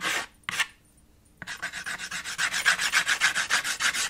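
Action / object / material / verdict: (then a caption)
scrape / chalk on a small framed chalkboard / chalk / none. White chalk held in the fingers rubs back and forth across the middle of a small black chalkboard slate with a red wooden frame. Two short, bright scratchy strokes are followed by a brief pause, then a fast, fairly steady run of hatching strokes gives a rhythmic, raspy scraping. In all, about nineteen separate strokes are heard.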